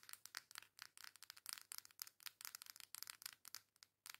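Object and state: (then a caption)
Cardboard makeup palette. Long nails rub and scratch the flat, foil-printed back of a coral cardboard face makeup palette. The result is a quiet, rapid run of short, dry, bright scratching bursts with no low end and no ring after each stroke.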